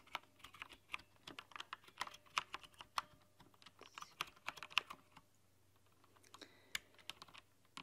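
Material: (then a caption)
Plastic. Long nails type across a rainbow-lit, backlit mechanical keyboard with translucent plastic keycaps. Quick, bright plastic clicks and clacks come in irregular bursts, with almost no low end, at a soft overall level. A brief pause near the end is followed by a few scattered taps.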